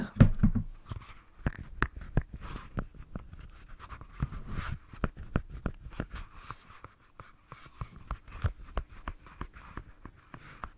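Long nails tap and scratch the surface of a single dark grey rubber swim fin with a hollow foot pocket, held near a furry microphone. Dozens of quick, dull taps with short, low thuds mix with soft, scratchy rubbing across the 11 seconds, with no ringing after each hit.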